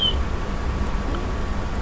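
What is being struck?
Nothing is struck.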